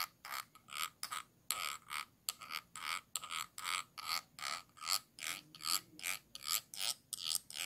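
A thin stick tool scratches along the ridged bottom rim and base of a small, round, clear glass jar held upside down and hollow. It makes a steady run of short, bright, rasping strokes with a faint ringing tone near 1.3 kHz, each dying away almost at once.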